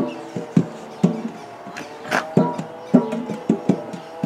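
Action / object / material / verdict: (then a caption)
tap / large round metal biscuit tin / metal / none. A large, round, hollow metal biscuit tin has its lid and gold base drummed with the fingertips. Nine hollow, ringing taps sound in an irregular rhythm, each with a short metallic resonance around 250 Hz that fades quickly.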